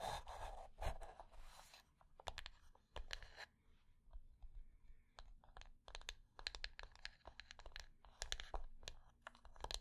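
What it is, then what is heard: Flat wooden box. Long painted nails of both hands tap and scratch a small, flat, rectangular hollow wooden box lying on a black fabric surface. Quiet, crisp clicks and dry, crunchy scratching come in quick bursts over a low, steady hum.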